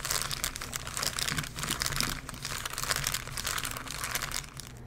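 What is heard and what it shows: A thin, soft sheet of white tissue paper spread over the pages of an open Bible is pressed, rubbed and crumpled against the pages by both hands with green-painted nails. The result is a dense, continuous, bright crinkling and crunching that rises and falls, over a faint steady low hum.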